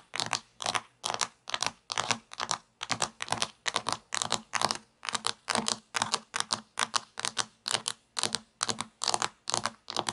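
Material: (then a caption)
Plastic. Long nails tap and scratch across the topping surface of a sliced plastic toy pizza made of solid plastic pieces lying on a table. The result is a quick, steady run of short, dry, crisp scratchy bursts, about two per second, that are bright and hissy with almost no low end.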